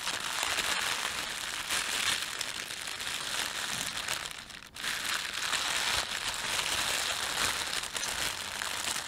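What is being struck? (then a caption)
Thin plastic bread bag. Fingertips squeeze and crumple a thin, red-and-white printed plastic bakery bread bag. A dense, bright crinkling fills the clip at a steady level, dipping briefly to near quiet about halfway through before picking up again.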